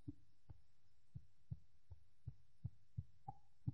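A piece of woven fabric is snapped taut again and again along its crosswise grain, the weft, producing ten short, soft, dull, low thumps at an irregular pace. The snap is a bit duller than along the lengthwise grain, and the fabric gives a little more, which marks this as the crosswise direction.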